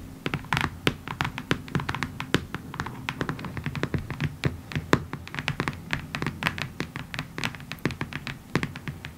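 A long, hollow, rectangular printed cardboard box for a diamond art kit, lying on a table, is tapped rapidly with the long acrylic nails of both hands. The result is a dense run of dozens of short, dry, clicky taps with bright tips and a low hollow thump under each, dying away almost instantly.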